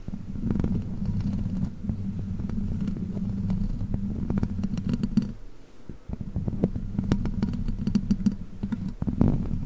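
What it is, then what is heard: Metal microphone grille scratched. Long black plastic witch-finger claws scratch across the hollow metal mesh grille of a large silver microphone. The sound is a dense, low, rumbling scrape with a throbbing hum near 230 Hz and scattered sharp clicky taps. It drops briefly near the six-second mark before resuming and swelling louder at the end.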